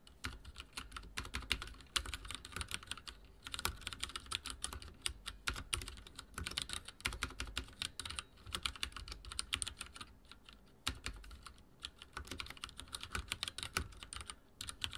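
Fingertips of both hands rapidly type on a full-size backlit mechanical keyboard with dark plastic keycaps and linear switches, resting on a wooden desk. A dense, steady stream of short, bright clacks with a low thud beneath each press runs throughout, with only brief pauses between bursts.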